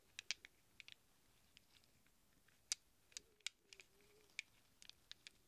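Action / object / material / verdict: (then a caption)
shake / small chrome-plated steel sockets / steel / none. Fingertips rummage through a handful of small, hollow chrome-plated steel sockets resting in a palm, producing quiet, bright metallic clinks. About sixteen short, sharp taps come at irregular intervals, each dying away almost instantly, over a faint low hum that briefly rises in the middle.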